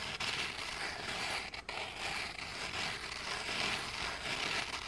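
Two flat, solid, scalloped gingerbread cookies are held close, and the textured back of one is scraped and rubbed against the other with fingers and nails. The result is a steady, bright, dry rasping scratch, mostly in the high range with little low end, broken by a couple of brief pauses.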